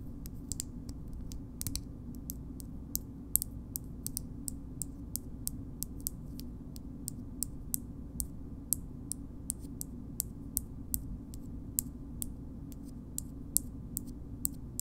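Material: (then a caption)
Glass. Long nails tap the base of a small pink frosted glass cream jar held on its side, making a steady run of about forty short, bright, dry clicks that stop at once with no ring. A low, steady hum sits underneath throughout.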